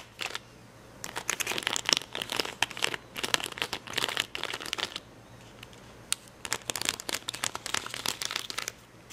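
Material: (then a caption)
Plastic. Fingernails pick and scratch at red and yellow acrylic rhinestones on the clear plastic backing of a rhinestone sticker sheet. It makes bursts of dry, bright crinkling and clicking scratches, separated by short quiet pauses.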